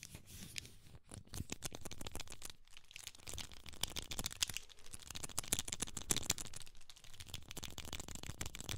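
A small, hollow black plastic camera lens cap is held close to the mic while fingertips squeeze its spring clips and fingernails lightly tap and scratch the plastic. The result is a rapid, irregular stream of dry, bright clicks and scratchy crackles that stop instantly with no ringing.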